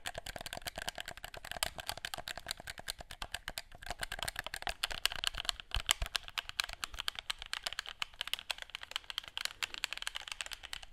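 Fingertips press and click the buttons of a hollow, handheld black plastic gamepad and tap its shell close to the mic. The result is a rapid, steady stream of sharp, dry plastic clicks and taps that stop instantly with no ring, bright and light in tone, with a focus around 3 kHz and little low end.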